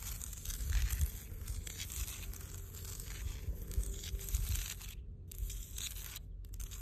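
Long blue almond-shaped nails on both hands scratch the rough surface of a large, solid granite boulder by the sea. A continuous dry, crinkly scratching fills the high range over a heavy low rumble. The scratching drops out briefly twice near the end.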